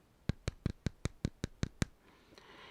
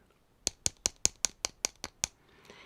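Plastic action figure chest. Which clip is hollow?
The second.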